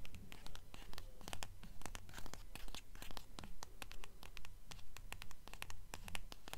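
A quick, even run of short scratchy strokes and light taps, each dying almost at once. The sound is dry and papery with a soft low thump beneath, typical of nails working over a glossy paper jacket on a hardcover book.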